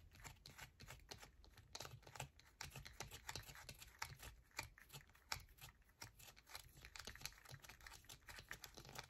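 A solid yellow bar of soap, held in both hands, is scratched fast with long nails, leaving shavings piling below. The result is a quiet, steady stream of dry, crisp scratches and sharp little clicks, bright and papery, over a faint low rumble.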